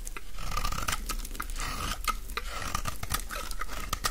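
A utility-knife blade shaves the edge of a solid, rectangular green bar of dry soap held in the hands, peeling off crumbly shavings. A steady run of dry, gritty scrapes carries a faint ringing tone near 1.3 kHz over a low rumble, with short, sharp crackling bursts throughout.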